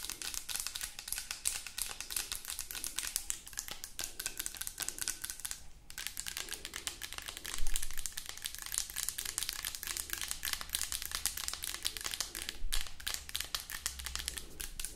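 Long acrylic nails tap quickly on a white plastic lotion bottle. A steady stream of dry, crisp clicks with a bright edge and almost no ring is broken by a couple of louder, duller knocks near the eighth and thirteenth seconds.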